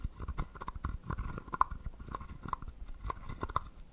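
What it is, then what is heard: Wooden frog guiro. A wooden stick taps and scrapes along the ridged back of a small, hollow, carved wooden frog guiro. The result is a quiet, uneven run of dry clicks and rasps with a faint woody tone around 1 kHz, a lot of low-end thump, and almost no ring after each stroke.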